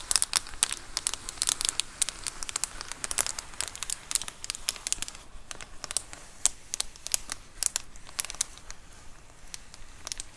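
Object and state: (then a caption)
Plastic bubble mailer. Long acrylic nails scratch across the bubbled surface of a large white plastic Amazon Prime bubble mailer lying flat. Dense, rapid crinkling and scratchy crackles are heard, each a bright, dry tick with almost no ring. They form an irregular stream over a faint low background.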